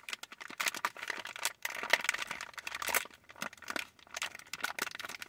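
A medium-size clear printed plastic bag full of wrapped cotton candy taffy is scratched and squeezed by long nails. Bright, dense crinkling comes in bursts with brief quiet gaps.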